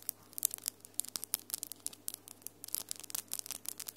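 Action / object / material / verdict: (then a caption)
tap / acrylic fingernails / acrylic / none. Long, solid almond-shaped acrylic nails with glitter polish are tapped and rubbed nail-on-nail, quickly between the hands. The result is a quiet, rapid stream of sharp, dry, bright clicks and scratchy rubbing that clusters in busy bursts. A faint steady low hum sits underneath.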